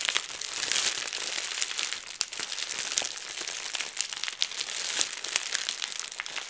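A roll of clear plastic bubble wrap is held in both hands while the fingers twist it and pop the bubbles. Steady, bright crinkling runs throughout, broken by many sharp, high snaps as the bubbles burst.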